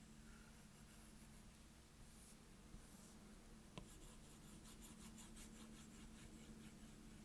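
A plastic Apple Pencil tip scribbles across a glass iPad touchscreen, filling in a circle. A quiet, steady scratch and rub on the glass continues throughout, with a couple of brief sharper ticks partway through.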